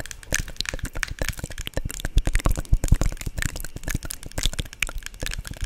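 A small, hollow white plastic cosmetic jar with a screw lid is held in both hands while long nails tap and scratch its lid and body. Quick, irregular dry clicks and taps come with a scratchy, crackling texture and a soft low thump under them. Each tap dies away almost at once.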